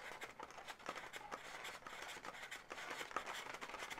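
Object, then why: Inflated latex balloon animal. Long natural nails scratch and tap the legs and body of a hollow, air-filled pale pink latex balloon dog. The result is a quiet, continuous run of bright, scratchy rubbing with light squeaky taps that die away quickly, with almost no low-end body.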